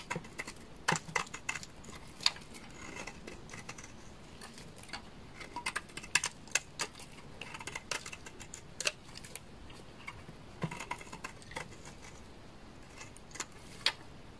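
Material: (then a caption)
Soap. A knife blade repeatedly scrapes a solid, dry, beige bar of laundry soap, shaving it. The clip is a quick series of crisp, bright scratches and clicks over a soft hiss, and each scrape cuts off almost at once.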